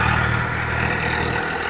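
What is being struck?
Nothing is struck.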